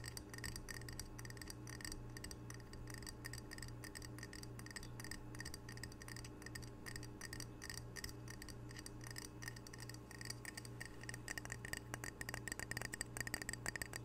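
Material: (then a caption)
Ceramic. Fingernails tap rapidly on the glazed surface of a single small, solid, square ceramic coaster printed "Camano Island" and held in the hands. The quiet, dense taps are short bright clicks with a faint tone near 1.9 kHz, over a steady low hum. The taps grow louder and sharper toward the end.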